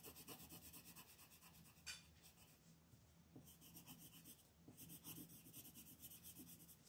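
A hand with long nails shades a beetle's horn on a flat white paper sheet lying on a table, using a green wooden colored pencil in rubbing and scratching strokes. Quiet, steady, rhythmic scratchy rasps carry a bright hiss over a faint low hum, with one sharper tick near the two-second mark and a brief softer pause before the strokes pick up again.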